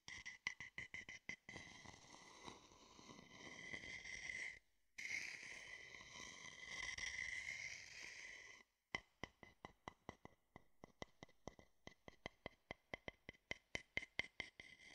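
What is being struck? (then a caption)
Small wooden bowl and wooden stick. A wooden stick is rubbed and scraped inside a small, hollow, empty wooden bowl held beside the mic, producing a croaking sound. Quick ticking strokes lead into two long, continuous rasping scrapes with a ringing tone near 2 kHz. These are followed by a fast series of sharp, clicky ratchet-like ticks that fade almost instantly.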